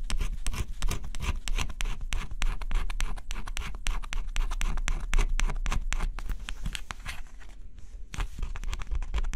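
A small stylus held in the fingers scratches the black coating off a flat, thin coated-cardboard scratch-off jigsaw puzzle. Rapid, irregular dry scratching strokes with bright, papery edges continue steadily for the whole clip, with a brief lull near the end before the scratching resumes.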